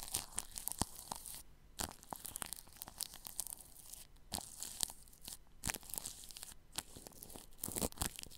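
A paintbrush sweeps across plastic cling film wrapped over a ball microphone's grille, making close, crinkly scratching and crackling strokes. Brief bright brushes and crunchy rustles repeat throughout, with short quiet gaps between some strokes.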